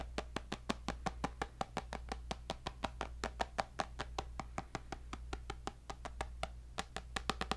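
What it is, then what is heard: Tablet glass screen. Fingertips and nails tap the glass screen of a tablet with a white bezel in a black case. About 41 quick, crisp taps land in an uneven rhythm, each dying away almost instantly with a faint mid-range ping near 770 Hz. A steady low hum runs underneath the whole time.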